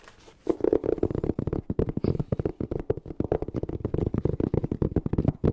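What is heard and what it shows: A palm-sized, black, fabric-covered hard-shell EVA zipper case, hollow and closed, is held in both hands and tapped and scratched with long painted fingernails. After a brief quiet start, a fast, steady stream of dull, hollow taps and scratchy rustles follows, low and muffled with little brightness.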